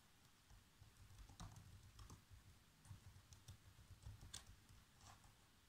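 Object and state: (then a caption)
Plastic laptop keyboard being typed on. Bare fingertips with short nails tap steadily on the keys of a black plastic laptop keyboard in continuous typing. The result is quiet, soft clicks and patters with a low thump under each press and brief bright ticks.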